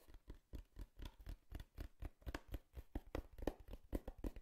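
Long fingernails quickly tap the side panel of a small, empty, hollow brown corrugated cardboard box in a steady patter. About nineteen soft, separate taps sound as dull, hollow thuds with a muffled click, each dying away almost at once. The whole run stays quiet.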